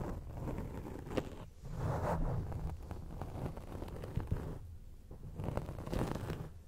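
Long acrylic nail tips scratch across a grey foam microphone windscreen, producing a close, muffled, low-heavy scraping and rustling. The scratching comes in uneven swells with a few sharper clicks, and dips briefly quieter between strokes.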